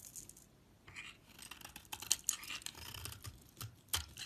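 A hand-sized, solid brown translucent bar of soap, held between fingers with long white nails, is scraped and shaved with a metal utility knife blade, peeling off brown curls. The clip is quiet, with a run of bright, crisp scraping and shaving strokes and short sharp clicks as the blade catches the soap. There is almost no low end or ring.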